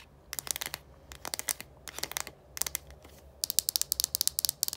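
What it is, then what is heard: Plastic deodorant stick. Long nails tap and scratch the translucent cap and blue casing of a small plastic deodorant stick. The result is quick bursts of sharp, bright clicks and scratches in four clusters, each dying away almost at once. A faint low hum sits underneath.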